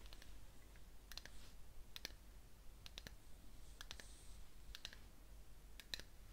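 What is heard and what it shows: Long fingernails tap and click the rim and sides of a small cream-coloured ceramic cup, filled with wax around a candle and held in one hand, before the cup is raised to the face to smell it. The result is quiet, sharp, bright clicks in irregular clusters that die away almost instantly over a low, steady background hiss.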